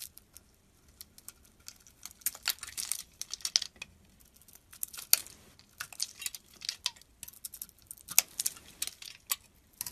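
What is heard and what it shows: A metal utility blade carves a solid white bar of soap with remnants of blue coating, and chips fall away. Crisp, bright scraping and crackling comes in quick short bursts with faint ticks between, with almost no low end.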